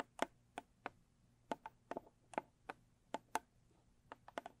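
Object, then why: Small rigid cardboard box. Long stiletto nails tap the lid and then the sides of a small, square, closed rigid cardboard gift box with a blue textured covering. About 14 short, dry clicky taps sound with almost no ring and a hollow knock near 680 Hz. The taps come at an uneven pace over a quiet background.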